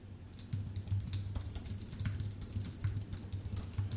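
Fingertips type steadily on a full-size white Apple Magic Keyboard with an aluminium base and plastic keys, producing a rapid run of short, bright key clicks that die away almost instantly. A steady low hum near 100 Hz sits beneath the clicks. The typing begins faintly and grows louder after the first half second.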